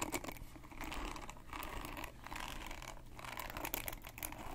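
Fingertips and nails scratch and flick across the many plastic pin bristles of a hand-sized red plastic paddle hairbrush with a black cushion pad, held in one hand. The result is a steady, dense stream of quick, dry scratching and crackly ticking with bright edges over a low background hum, with brief dips in activity.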